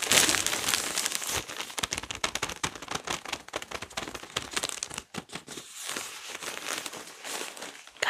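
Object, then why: Toilet paper pack in thin plastic film. A large pack of toilet paper rolls wrapped in thin plastic film is held up and squeezed and crinkled with fingers and palms. The result is a dense, bright crinkling of the plastic with rapid sharp crackles and almost no low end. It is loudest at the start, then settles into softer, uneven rustling.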